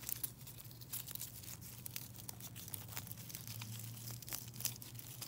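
A mesh net bag of silver foil-wrapped chocolate coins is crinkled and scratched with fingernails. Dense, bright crackling with sharp ticks runs throughout, over a steady low hum.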